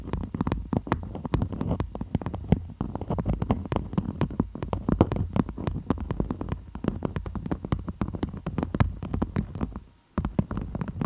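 Long almond-shaped nails scratch and tap a stiff, floral beeswax-coated cotton food wrap stretched over the microphone in close-up. Dense, rapid taps and crinkly scratches come through with a heavy low-frequency thump, briefly stopping just before the 10-second mark before resuming.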